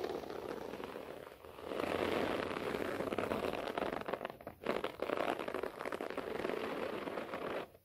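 Both hands scratch rapidly at a beige short-pile floor carpet with fingertips and nails, producing a dense, continuous crackling scrape centered in the mids. The scratching starts softly, swells louder after about two seconds, dips briefly near the four-and-a-half-second mark, then continues steadily before cutting off at the end.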